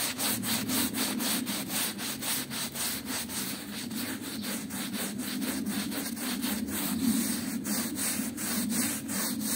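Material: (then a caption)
Textile. A small, patterned, woven rug, wet and soapy, is scrubbed with a small hand brush held in a yellow-gloved hand. Quick, steady back-and-forth strokes come about four times a second, each giving a bright, bristly, wet rasp over a low, continuous rubbing hum.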